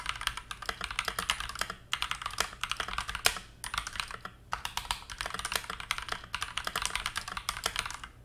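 Fingertips type rapidly on a stock TM680 65% hot-swap mechanical keyboard with KTT Mint linear switches, a translucent teal plastic case and dark plastic keycaps; loose teal switches sit untouched on the desk mat beside it. Dense bursts of short, bright, clacky keystrokes run throughout, with brief pauses between flurries.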